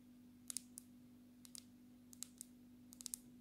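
Long natural nails tap the edges and glass back of a black smartphone held low, making quiet, sharp, bright clicks. The clicks come in small, irregular clusters with very short decay over a steady low hum.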